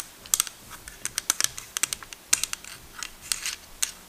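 A small plastic miniature desk is tapped repeatedly, giving 18 quick, light, bright clicks in an uneven rhythm. The taps are high and thin with almost no low end, and each one dies away at once.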